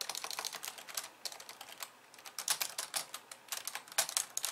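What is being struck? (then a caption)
Plastic computer keyboard. Fast two-handed typing with long nails on a pink plastic computer keyboard with white keys. Rapid, bright, clicky keystrokes run in quick bursts with brief pauses between them.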